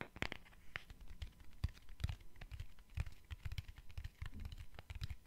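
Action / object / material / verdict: tap / small cardboard box / cardboard / none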